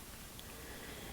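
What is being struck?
Nothing is struck.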